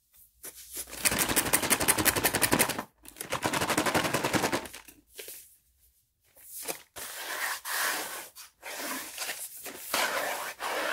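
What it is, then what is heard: Cardboard wafer box being tapped. Fingertips and medium-length painted nails tap and knock rapidly on the flat faces of a closed, printed Bahlsen Waffeletten cardboard box, about 25 cm long, hollow and apparently full of wafers, held in both hands and turned over. Two fast, sharp, bright drumming bursts come first, followed by slower, scattered knocks and soft brushing as the box is turned.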